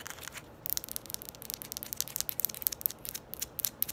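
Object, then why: Small hard plastic ball. Long nails rapidly tap and scratch a small red ball, hard plastic by appearance, held close to the microphone. The result is a quiet stream of crisp, bright clicks and scratchy rasps with almost no low end and no ring after each hit.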